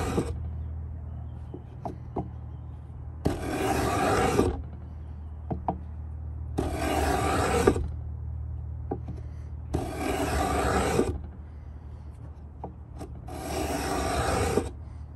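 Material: Pine wood.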